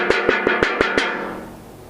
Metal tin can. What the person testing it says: Nyaring ya bunyinya. Kenapa bisa nyaring? Tereng! Karena kosong.